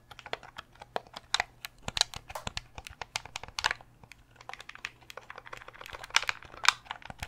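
Fingernails tap on a translucent purple Nintendo 64 controller of hard, hollow plastic with a cable while its buttons are clicked. The result is a rapid, irregular string of dry, bright clicks and taps with almost no low end and no ring, over a faint steady low hum.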